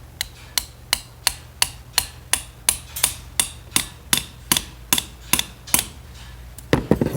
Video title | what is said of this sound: Finished up with the valve stem seals. Started on the head liner repair. Done with heater hoses, etc | when it gets down you'll hear the differences in the noise